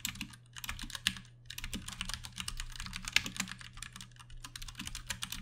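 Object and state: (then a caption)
Plastic mechanical keyboard. A Ducky One 2 Mini compact 60% mechanical keyboard with plastic keycaps, Cherry MX Brown switches and RGB backlighting rests on a desk while both hands tap the keys with their fingertips. The typing is a fast, steady stream of bright, crisp clicks with a soft low thump under each press. Two keystrokes stand out louder and sharper than the rest.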